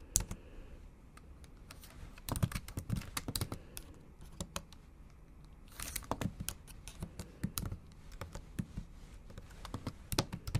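Long acrylic nails type on a MacBook Pro laptop keyboard with black plastic keys set in an aluminum body. Quick, sharp clicking taps come in uneven bursts with short pauses between them. Each tap is a brief bright click over a soft low thud that dies away almost at once.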